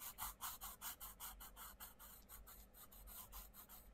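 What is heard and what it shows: A wooden coloured pencil tip rubs and scratches across the paper page of an open paperback colouring book in quick back-and-forth colouring strokes, while the other hand holds the book open. Each stroke makes a soft, dry, bright rasp, repeating about two to three times per second in a steady rhythm. The strokes are crisp and separate at first, then blur into a quieter, continuous scratchy hiss.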